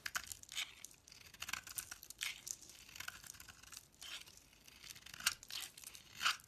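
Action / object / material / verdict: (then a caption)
scrape / bar of soap carved with a knife blade / soap / none. A utility knife blade scrapes and carves curled shavings off a solid Fa bar soap with a purple core, held in the hand. Quiet, dry, crisp scraping and crinkly tearing strokes repeat throughout, bright and hissy with almost no low end, and each stroke stops short with no ring.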